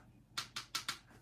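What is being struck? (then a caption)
Small metal trading card plate tapped on a computer. An unnumbered metal trading card plate from 2020 Allen & Ginter is tapped four times against a computer, giving four short, bright, clicky taps that die away quickly. It is a plain metal plate, not a printing plate.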